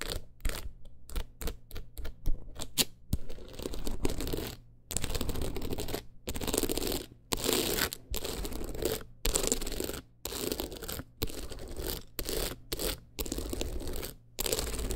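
Long acrylic nails scratch across a teal rhinestone-covered clutch wallet. Quick, gritty scratches come first, followed by longer, bright rasping strokes separated by short pauses, with a low steady hum underneath.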